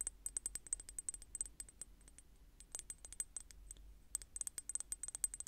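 Long painted nails tap and click on a small clear square glass bottle with a metal cap or stick on top, held in the hand. The result is quick bursts of sharp, very short, bright clicks with a high glassy tick. The taps thin out to a softer patter in the middle before quickening again.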